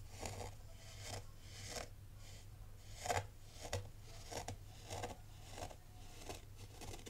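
A black rake rubs and scrapes through the loose grains of fine white sand in a tray. Eleven crisp, crunchy, bright scraping strokes come at an uneven pace over a steady low hum.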